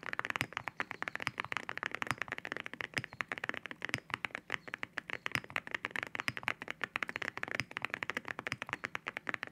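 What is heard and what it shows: Fingertips type steadily on a mechanical keyboard with ceramic keycaps, heard close up. A rapid, continuous stream of short, sharp, bright clacks centers around 2 kHz, with almost no low end. Each click dies away almost instantly.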